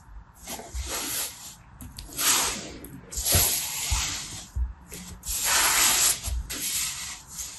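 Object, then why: Kinetic sand mound. A large, loose pile of beige kinetic sand with no container, resting on a purple mat, is squeezed and rubbed between both palms and fingertips. Bright, granular hissing swells and fades in repeated strokes, with soft, dull low thumps as the sand is pressed together.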